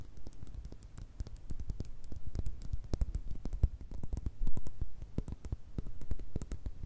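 Long red nails tap rapidly on a small frosted glass pocket perfume bottle and its faceted blue cap. The taps are quick, dry clicks with very short decay, each with a bright tick over a soft low thud, coming in an uneven, continuous patter.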